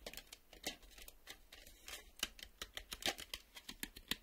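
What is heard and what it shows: A black plastic VHS cassette is held and then laid on a table while a fingertip and nail tap on its face. The result is a quiet, rapid, uneven series of short, dry clicks and taps, bright and high with almost no low end, each dying away almost instantly, with faint scraping between hits.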